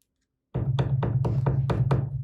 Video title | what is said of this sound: EMI Audio brings this 80's Fender Rhodes Back to Life!!! | if you tap on the magnet you'll hear it come through the speakers